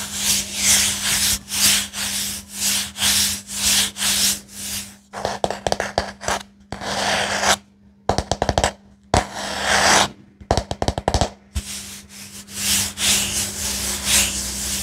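A wooden paddle hairbrush is held close to the mic while a palm and fingers rub and scrape along its wooden pins and body. Regular bright, breathy rubbing strokes give way to bursts of quick clicking scrapes, then return to steady rubbing, all over a faint constant low hum.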